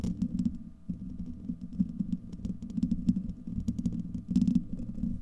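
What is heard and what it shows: Fingertips and nails scratch a hollow, domed steel wire-mesh microphone grille and cup around it, giving a dense, muffled low rumbling with a steady hum. Quick faint scratches tick through the rumble, and bright scraping bursts flare near the end.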